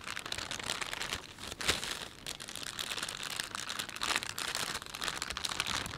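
Fingers rub and fold the film of a thin, empty plastic shopping bag with a panda on it. The result is steady, bright crinkling and crunching that runs the whole clip, with a few louder crackles and almost no low end.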